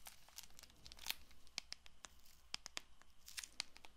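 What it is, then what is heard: Cellophane-wrapped paperboard card box. A small Bicycle playing card box of paperboard, wrapped in clear plastic film, is held and turned in the hands while long nails scratch and tap its faces. Quiet, crinkly scratching runs throughout, with sharp, bright clicks and taps standing out above a low hum.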